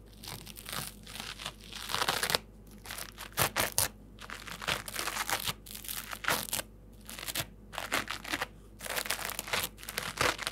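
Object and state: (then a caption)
Layered foam sponge. A dry, new rectangular multi-layer foam bath sponge, soft and porous with red, yellow, white and green layers, is held in both hands and squeezed and scratched with fingertips and dark-painted nails. It gives bursts of crunchy, bright crinkling and scratching with short pauses between them, over a faint low hum.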